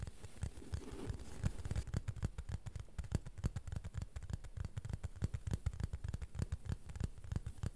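A plastic board is tapped gently and rhythmically with rapid, slightly uneven taps of about three per second. Each tap is a soft, dull knock that dies away almost at once, with most of its weight in the low range.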